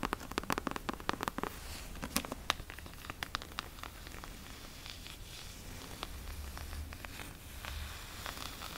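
Long fingernails scratch across the embossed cover of a closed, brown leather-covered Bible held in both hands. Quick, dry, crackling scratches come in a dense cluster at the start, then continue as softer, sparser strokes over a low rustle.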